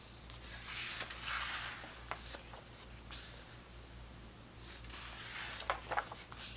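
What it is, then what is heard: Paper pages of a hardcover book being turned. Hands turn the thick printed paper pages of a large open vintage hardcover book about 1970s soccer, and fingertips brush across them. Soft, bright paper rustles swell and fade, broken by several short, crisp snaps as pages flip over.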